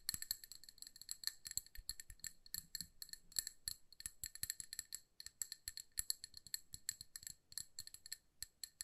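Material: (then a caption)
Glass. A small amber glass candle jar filled with wax, held in both hands, is tapped with long nails on its sides and rim. A fast, irregular stream of crisp, bright clicks rings with short, high glassy tones and a faint tone near 2 kHz. Each tap dies away almost at once.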